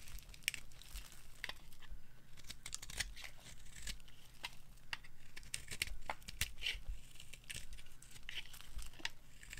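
A hand-sized, solid green bar of dry soap with a dark coating is held in the hand and carved with a metal knife into crumbly chunks. Each cut gives a dry, crisp scrape-and-crunch with bright crackle, falling into a steady run of quick, close strokes. A low, constant hum sits underneath throughout.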